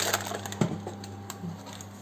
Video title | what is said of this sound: Vidéo de mon pain châtaigne sarrasin, en 10 mn montre en main, sans gluten, ni maïs... un régal ! AL | vous pouvez vérifier en tapotant comme ça et effectivement ça sonne